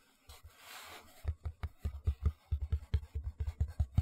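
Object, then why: Cardboard shoe box lid. Fingertips and nails scratch and then tap the bare brown board inside an empty white cardboard shoe box lid held upright. A soft, brief scratching hiss comes first, followed by around sixteen quick, dull, low taps with a dry, hollow thump and no ring.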